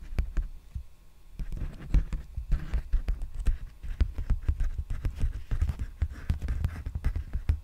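Fingertips and nails tap and scratch a large, empty black poly bubble mailer envelope held upright. A rapid, uneven stream of dull, muffled taps is heard, with soft scratchy rustles between them. The taps die away almost instantly, and their energy sits almost entirely in a low, thumping range.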